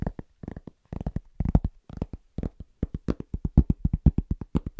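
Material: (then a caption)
Cork. A large, round, flat, solid cork trivet is tapped very fast with the fingertips of both hands. The result is a quick run of soft, dull, low thuds with no ring; the taps start in uneven bursts and settle into a steadier rhythm.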